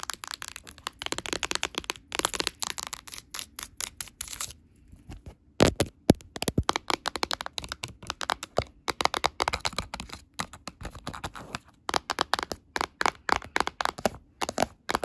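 A solid Nintendo Switch with white Joy-Cons, a glass screen and a plastic body is tapped with long black nails and green claw nails. The result is a fast, irregular run of sharp, dry clicks with bright, crackly edges and almost no ring. The clicks pause briefly around the five-second mark, then return with a few louder taps before the tapping continues.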